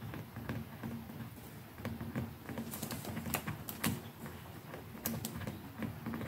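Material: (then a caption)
Plastic. Long nails and fingertips tap on the hollow, textured handle of a white plastic electric toothbrush, near the button and the neck. A steady run of quick, light clicks and soft pattering taps rises over a faint low hum, with sharper, brighter nail clicks standing out now and then.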